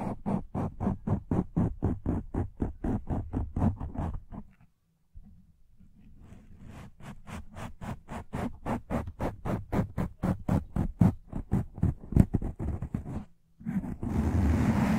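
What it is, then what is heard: Foam microphone windscreen being scratched. Fingertips and short nails scratch across the top and sides of a black porous foam windscreen on a desktop microphone, making rapid, repeated rasping strokes that are dull, low and muffled. The scratching runs in a steady stream, pauses briefly near the middle, and resumes at a similar pace. It ends in a brief broader rustle.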